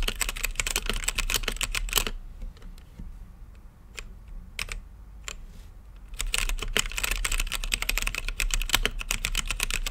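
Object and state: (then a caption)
Plastic mechanical keyboard. Fingertips type on a mechanical keyboard with plastic keycaps and a clear acrylic lit case, producing rapid, bright, clacky key strikes. A fast burst of typing gives way to a quieter stretch of a few scattered keypresses. Dense typing then resumes, all over a steady low background hum.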